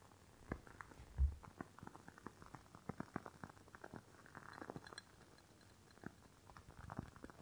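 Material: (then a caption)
Glass. Long fingernails tap and scratch the sides of a rectangular clear glass candle jar filled with red wax, held in one hand. The result is a quiet, close string of quick, dull taps and soft scratching, with one stronger thump early on and brief, muted ring after each tap.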